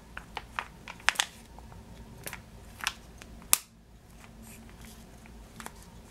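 Fingertips and nails squeeze and tap a full, clear plastic bag of yellow sugared almonds held in both hands. About ten short, bright crinkles and clicks come at an irregular pace over a quiet, low background hum, with the sharpest snap near the middle. The last few seconds hold only faint, soft rustles.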